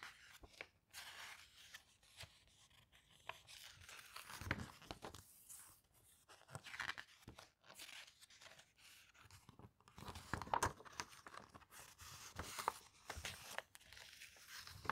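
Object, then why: Glossy paper brochure. A thin, flexible glossy paper travel brochure is held open in both hands while its pages are turned and rubbed with fingertips and long nails. Soft crinkling, brushing and scratchy rustles come in many short, quick bursts with bright crackle, separated by brief pauses.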